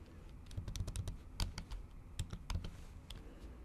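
Long acrylic nails tap the keys of a MacBook keyboard covered by a thin pink plastic or silicone keyboard cover. About fourteen quick, sharp clicks with bright tips land in an uneven typing rhythm over a soft, low, muffled thump. Each tap dies away almost at once.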